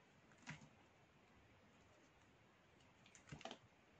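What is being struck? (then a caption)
Bar of black soap cut with a metal knife. A small solid piece of black soap is held in the fingers while a metal knife blade cuts and shaves flakes from it. Two brief clusters of crisp, scraping slicing sounds, one near the start and one near the end, stand out over a quiet, steady background hiss.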